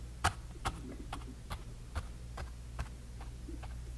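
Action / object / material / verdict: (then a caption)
tap / canvas panel tapped with a bristle brush / canvas / none. A flat bristle brush taps and dabs grey paint onto a small painted canvas panel, giving about eight short, dry, bright taps at an uneven pace. The taps die away almost instantly over a steady low hum.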